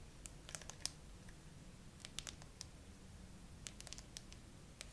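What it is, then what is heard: Smartphone with a matte glass back. A gray iPhone with a frosted matte glass back and no case, mounted upright on a tripod with a small clip-on mic on top, is tapped and scratched across its flat back by long acrylic nails. Quiet, sharp, bright clicks come in a slow, uneven series over a low steady background hum, each dying away almost instantly.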